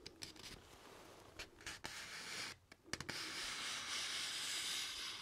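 Fingertips and nails scratch and rub along the top edge of a single thin sheet of white printer paper held upright. Short, dry scratches come first, followed by a steady, bright, hissy rubbing that fills the rest of the clip with almost no low end.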